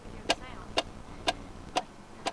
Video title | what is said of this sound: Water Witch: Traversing the Seas of History | that's definitely not wood, not shell, not rock.